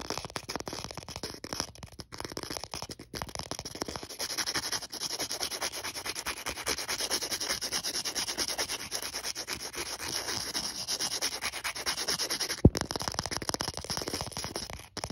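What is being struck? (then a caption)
Emery board nail file. A thin, flat, star-print emery board nail file has its abrasive face scratched and rubbed continuously by fingertips and nails. The result is a steady, dense, bright gritty rasping, with a single sharper click near the end before the scratching fades out.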